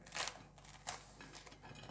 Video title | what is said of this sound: Il Girasole - speciale Pasqua 2020 | quando taglio come scrocchia, Sì, senti? vai a sentire.